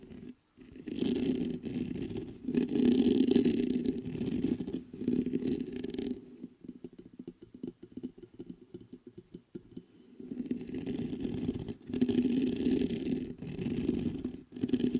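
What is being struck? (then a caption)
Metal condenser microphone with mesh grille. Fingertips scratch and tap the hollow mesh grille and cylindrical sides of a black metal USB condenser desktop microphone. Dense, close scratching with a warm low-mid body fills the opening and closing stretches, broken by short pauses. In the middle the scratching drops away to quieter, rapid light taps and ticks.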